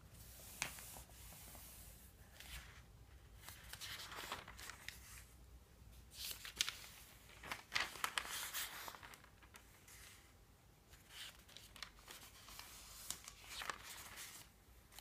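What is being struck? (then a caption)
Paper phone book. Fingertips rub the thin paper pages of an open phone book, then lift and flip several of them. Soft, bright rustling and crinkling comes in uneven bursts, with short crisp flicks as the pages turn, all at a quiet level.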